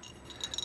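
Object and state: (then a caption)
Ceramic bell that rattles rather than rings. A small vintage ceramic Japanese bell shaped like a komainu shrine-dog head, with a sound hole and in good condition with no cracks, is shaken. It gives about four quick, high-pitched clinks near 3.9 kHz that sound more like a rattle than a ring, each fading within a fraction of a second.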